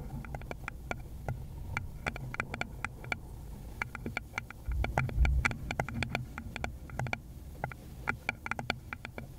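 Long pointed gloved nails tap and scratch repeatedly on the base of a small hollow round wooden bowl, held beside a fluffy mic cover. Many quick, crisp clicks with a bright edge sound over a steady low rumble, with a louder, fuller stretch around the middle.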